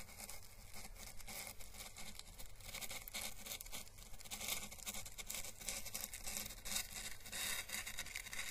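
A small, hollow, dried orange Chinese lantern husk, the papery calyx of the plant, is held in the fingers and brushed with paintbrush bristles. The result is a continuous, quiet, dry crackling and scratchy rustle with fine, bright crinkly detail and a soft low rumble beneath. The brushing comes in irregular, closely spaced strokes.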